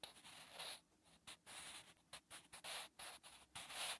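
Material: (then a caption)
Paper, graphite. A wooden pencil scratches and rubs across a textured, lined notebook page while writing. The sound is a dry, bright, papery scratching that comes in uneven short strokes with brief pauses between them, with almost no low end.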